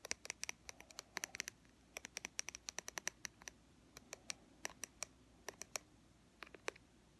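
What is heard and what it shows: Long fingernails tap and scratch a white plastic BB cream squeeze tube near its dark cap end. It makes a quick, irregular run of sharp, dry, bright clicks and light scratches with no ring, over a quiet, faint background hiss.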